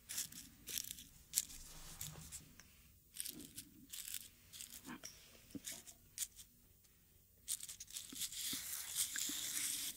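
Dried rose petals are ground and crushed in a small, hollow, light wooden mortar with a wooden pestle held at the fingertips. The result is quiet, bright crackling and crinkling with brief tearing crunches in irregular bursts, which swell into a denser rustle toward the end.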